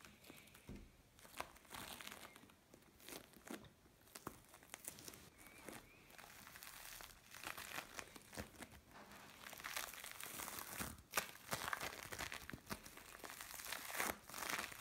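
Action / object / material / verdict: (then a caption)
scrape / bead play foam lump / foam beads / none. A mixed lump of blue and orange bead play foam is pressed with a palm, then grabbed and squeezed by hands. It gives a steady run of dense, bright crinkling crackles and small crunchy pops that swell in bursts as the grip tightens.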